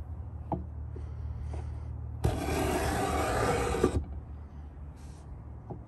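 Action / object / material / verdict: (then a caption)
scrape / pine wooden box edge scraped with a metal beading scraper / pine wood / none. A Stanley 66 metal beading scraper, gripped in both hands, is scraped back and forth along the top edge of a large hollow pine box, cutting a bead into the wood. Over a low steady hum and a few faint taps, a dense, bright rasping scrape runs for about two seconds before dropping back to quiet.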